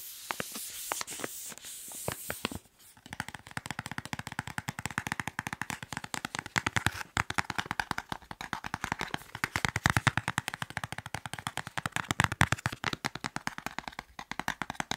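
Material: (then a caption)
Soft plastic. A soft white plastic wet wipes package, filled with wipes, is tapped and scratched with fingertips and nails. It opens with a bright, hissy crinkling scratch for about three seconds, then gives way to a long run of rapid, dry, muffled taps with a faint plastic rustle that continues to the end.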